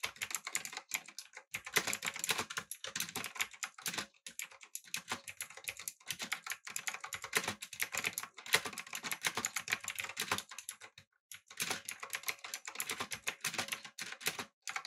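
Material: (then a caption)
Plastic. Fingertips type on a backlit, typewriter-style mechanical keyboard with round plastic keycaps, producing rapid bursts of bright, sharp clicks that stop and restart in short pauses. Each keystroke dies away almost instantly, with little low-end weight.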